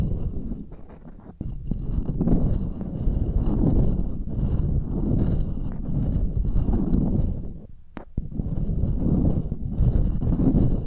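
Pearls held in long-nailed fingers tap and scratch the metal mesh grilles of two identical silver microphones. The result is a dense, continuous stream of low, muffled tapping and scratching with very short-lived hits. It eases off briefly around the first second and again near the eighth second, then resumes at full strength.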